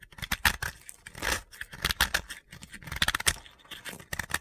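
A utility blade scrapes a small, solid, pale blue piece of dry soap held in the hand, shaving it into crumbs. Quick, crisp crunching and gritty scraping strokes come in uneven bursts with a bright, dry edge and almost no ring.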